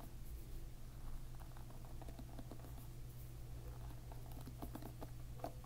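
A plastic-pin hairbrush is held upside down while a finger strums its plastic pins from below. This makes a quiet, rapid patter of short, dry clicks and ticks over a steady low hum.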